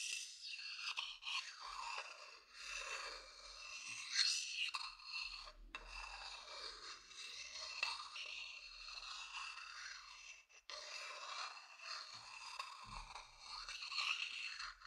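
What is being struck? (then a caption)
Wooden bowl. A thin wooden stick scratches the outer bottom of a hollow, empty, medium-sized wooden bowl held close to the mic. The result is a steady, bright, rasping scrape with almost no low end, pausing briefly just before 6 seconds and again around 10.5 seconds.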